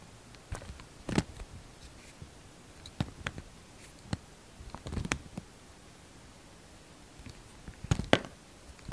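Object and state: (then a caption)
Glycerin soap bar being carved. A solid translucent red glycerin soap bar is held in the hand and carved with a utility-knife blade, peeling off thin shavings. Short, dry scraping and cutting strokes come in scattered bursts with quiet pauses between them, each with a crisp, bright edge and almost no ring.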